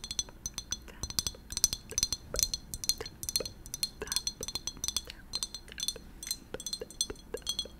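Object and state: Glass bottle with cork.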